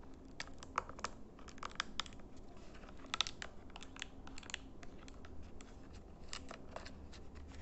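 Fingernails rapidly tap and press the membrane buttons of a small plastic RGB LED infrared remote control. The result is a stream of short, dry, bright clicks at an uneven pace, with some presses sharper than others, over a faint low background hum.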